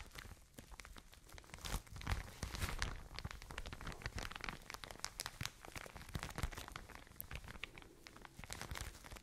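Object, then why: Soft plastic bag filled with cotton wool. A full, soft plastic package of cotton wool is squeezed and crinkled by hands with long nails close to the mic. Dense, continuous crinkling and crackling spread from soft low rumbles to bright, sharp snaps, with louder crunchy bursts around the middle. The sound stays quiet and close throughout, with only short, dry decays.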